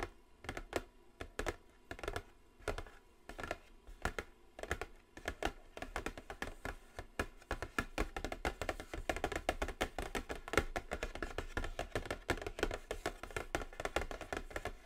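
Long blue nails tap quickly across the top of a large, flat, black glossy cardboard Morphe eyeshadow palette box lying on a table. Short, dry, clicky taps with a soft low thump come in spaced bursts at first, then build into a steady, rapid, continuous patter from about six seconds on.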